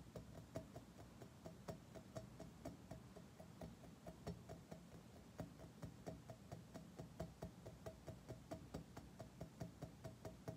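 Fingertips and short nails repeatedly tap a shiny, curved chrome-plated metal object, producing about thirty quick, dry knocks at an uneven pace. Each tap is short, with a faint metallic ping in the mid range, over a steady low background rumble.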